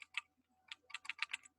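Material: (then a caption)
Metal. A standard hard disk drive is shaken by hand, and its moving parts rattle inside as a series of short, sharp, high-pitched clicks with a brief pause in the middle. This rattle is normal for a drive with moving parts.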